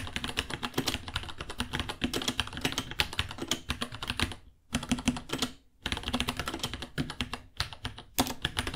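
Fingertips of both hands type steadily on a small white 66-key mechanical keyboard with Gateron Brown switches, white plastic keycaps, a hollow case and pink underglow, resting on a white desk. Dense, bright plastic clacks with a low thock come in fast bursts, broken by two brief pauses near the middle.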